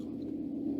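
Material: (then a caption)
Metal. A huge metal gong is lightly and repeatedly tapped, giving a steady, sustained low ringing centered around 250 to 300 Hz with overtones up to about 800 Hz. The sound does not decay between taps; its intensity slowly builds as each tap adds to the ringing already there.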